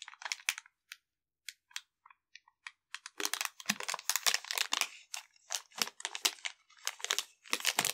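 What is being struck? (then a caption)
Plastic zip bag with a small metal stove inside. A small clear plastic zip bag holding a folded metal pocket stove with fuel tablets and a printed paper label is held and crinkled between the fingertips of both hands. Sparse, bright, crisp crinkles at first give way after about three seconds to dense, continuous rustling and crunching with occasional lower thumps from the contents shifting.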